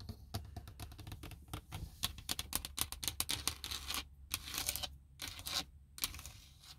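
Fingertips and nails tap and scratch a large, textured, hollow plastic dashboard hood over a car's gauges. A rapid run of dry, bright clicks with almost no ring sits over a faint low hollow thump. Brief scratchy bursts and short pauses break up the taps.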